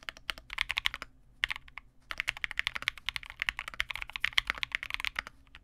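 A small 65% Vega65 mechanical keyboard with re-lubed Cobalt switches, white plastic keycaps and a dark case is typed on continuously with the fingertips of both hands. Quick, crisp clacks with almost no ring sit mostly in the upper mids and highs, centered near 2.1 kHz. They come in dense runs with brief pauses around one and two seconds.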